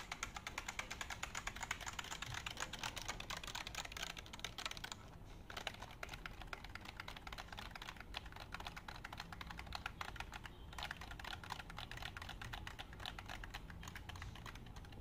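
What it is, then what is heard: Plastic computer keyboard. A black plastic computer keyboard is held in both hands while fingertips rapidly tap and press its keys. The result is a quiet, dense stream of bright, short plastic clicks that continues throughout, with brief lulls around 5 and 10.5 seconds.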